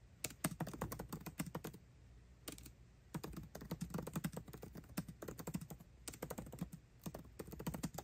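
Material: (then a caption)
Plastic. Both hands type fast with their fingertips on the backlit black plastic keycaps of a 13-inch aluminium MacBook Pro laptop keyboard. The result is bursts of quick, soft clicks that are mostly low and dull, with short pauses between runs.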